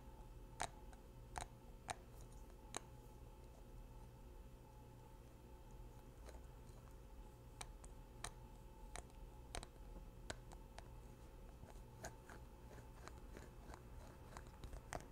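Fingers take the white plastic cap on and off a small square glass makeup bottle filled with liquid foundation. A series of short, sharp, bright clicks sounds over a quiet, steady low hum.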